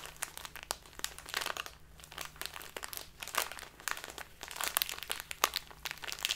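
A full plastic bag of dark loose tea is crinkled in the hands, then pressed flat on a tablecloth. Bright, dense crackling and crunching crinkles come in uneven bursts with many sharp, quick snaps. Underneath runs a faint low hum.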